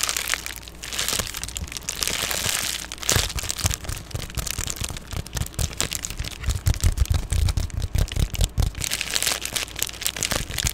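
An Amazon Prime padded poly bubble mailer, rolled or folded and held close, is scratched and tapped with long painted nails. Dense crinkly scratching and bright papery hiss mix with quick low thumps from the padded plastic, and the tapping grows heavier and more muffled in the middle of the clip before the scratchy rustling returns.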